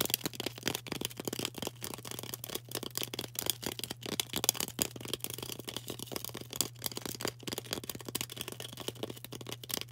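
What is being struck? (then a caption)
Green floral foam block tapped and scratched with fingernails. Long orange acrylic nails tap and scratch fast across a solid, rectangular green floral foam brick held in the hand. A dense run of crisp, bright clicks and scraping rasps fills the clip, with no ringing after each hit. A steady low hum sits underneath throughout.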